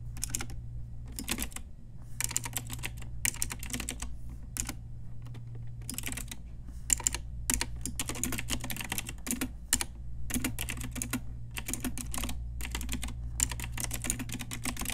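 Long nails and fingertips type on a pink Ajazz typewriter-style retro mechanical keyboard with round plastic keycaps. Bursts of rapid, bright, clicky keystrokes are separated by short pauses, over a steady low hum.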